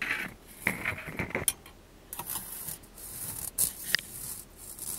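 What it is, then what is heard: Mesh skimmer ladle. A mesh skimmer ladle is tapped and scratched, giving quick, bright, ratchet-like rasps across the mesh. Short metallic ticks with a ringing tone near 1.9 kHz stand out between stretches of hissy high scraping, and each sound dies away almost instantly.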